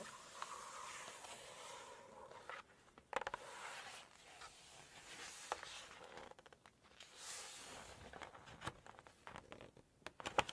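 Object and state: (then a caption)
Glossy paper cookbook pages. An open Chinese cookbook with glossy photo pages is scratched and tapped by long nails, giving soft, bright scraping hisses broken by small crisp taps. A page is then lifted and turned with a louder papery rustle and flap.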